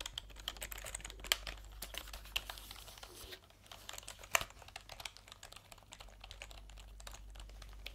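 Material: Plastic.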